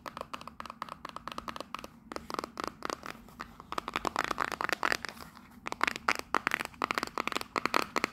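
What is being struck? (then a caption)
Small printed cardboard box. Long nails tap rapidly on the front face of a small, hollow printed cardboard souvenir box decorated with a Union Jack. The result is a fast run of dry, hollow clicks with a papery crinkle, each one damped almost instantly with no ring. Brief pauses interrupt the burst of taps.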